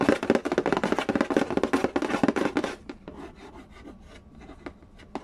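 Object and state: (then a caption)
Cardboard board game box lid. Fingertips rub and trace quickly over the glossy cover of a hollow, printed cardboard Candy Land game box lid resting on a wooden floor, with light tapping mixed in. For the first few seconds there is a dense, fast run of dry scratchy rubbing and taps. It then drops to a soft hiss broken by a few sparse, sharp light taps.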